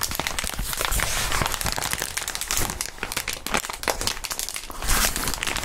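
Clear polyethylene bubble wrap with hollow air bubbles is held up close and squeezed and crumpled by the fingertips of fingerless-gloved hands. A dense, continuous crinkling fills the clip, with sharp crackles and snaps scattered throughout and a bright, hissy texture, swelling slightly louder near the end.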